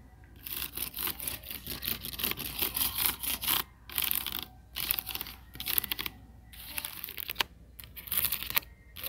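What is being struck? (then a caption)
Stack of hard plastic buckets. Fingertips with short nails tap and scratch along the lined-up ridged rims of a nested stack of hollow, empty, glossy orange hard-plastic buckets or bowls. The result is a bright, crackly run of rapid scratches and taps with very short decay, broken by brief pauses.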